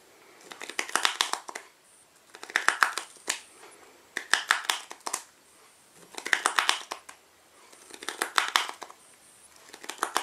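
A small black cardboard playing card box is held in one hand while fingertips and nails tap and squeeze its sides and flap. Six bursts of rapid, dry, crinkly clicks and scratches come with short quiet gaps between them. The sound is bright and papery, with almost no low end and no ring after each tap.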